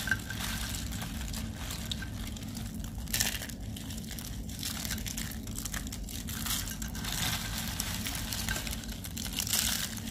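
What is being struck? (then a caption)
Soap curls and shavings crushed by hand. Thin, dry, pale-green soap curls and shavings in a white tray are crushed and squeezed between the fingers and palms of both bare hands with short nails. The result is a steady run of dry, crisp crunching and crinkling over a low rumble, with bright bursts of crackle where the squeezing gets harder.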